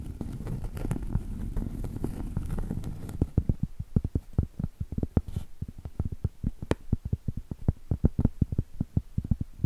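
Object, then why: Cork trivet. Long stiletto acrylic nails tap on the surface and thick edge of a round, solid cork trivet. For the first three seconds the taps run together in a fast, dense rustling patter. After that they come as separate dull, low, dry clicks with almost no ring.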